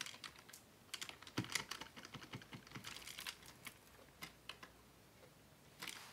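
Fingertips tap the keys of a black plastic Dell desktop keyboard resting on a wooden desk, making bright, short clicks in irregular bursts with a brief pause as one hand lifts mid-stretch. A final flurry of keystrokes follows.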